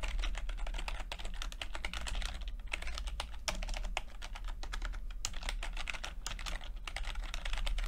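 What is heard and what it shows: Fingertips of both hands type continuously on a full-size plastic computer keyboard with red and blue backlit keys and low-profile keycaps. The fast, overlapping clicks and taps have bright edges and die away almost instantly, over a steady low hum.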